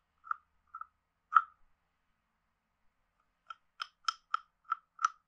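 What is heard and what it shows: A hand-sized hollow carved wooden frog guiro is played with a wooden stick, scraped along its ridges and tapped on its body. Nine short, dry, hollow clicks with a woody tone around 1.3 kHz come in two groups: three spaced knocks, a pause of about two seconds, then six quicker, brighter ones.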